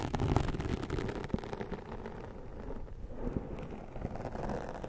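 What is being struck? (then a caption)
Foam microphone windscreen scratched with a plastic comb. The tips of a plastic comb scratch along the top edge of a black foam windscreen on a microphone. The result is a close, dense, low scratching rumble with soft crackles and a few sharper ticks, with almost no bright content.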